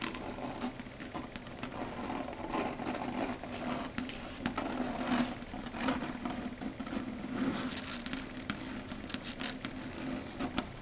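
Long red stiletto nail tips tap and scratch across a flat dark grey chalkboard surface. A steady, dry scraping texture runs throughout, with a low hum near 234 Hz and sharp, bright clicks scattered across the clip that die away almost instantly.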